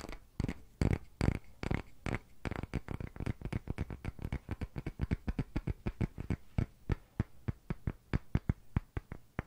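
A palm-sized, pale, solid wooden rounded block is held in both hands and fast-tapped and scratched with fingertips and short nails. Roughly 45 short, dry, low-pitched woody knocks come in quick, uneven bursts, with faint scratching between them. The taps become more evenly spaced toward the end, and each dies away almost instantly.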